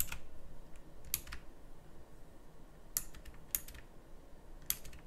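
Sparse, clicky key presses are made with the fingertips on a full-size backlit pink mechanical keyboard with round plastic typewriter-style keycaps. A handful of sharp, bright clicks stand out at irregular intervals over a low, steady background rumble, each dying away almost instantly.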